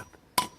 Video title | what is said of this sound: Replacing the valves in a cylinder head, Renault Megane 2 | tap it you can hear it it changes the sound when it goes all the way